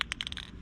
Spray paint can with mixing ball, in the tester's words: shake the can till you hear the ball rattling at the bottom of the can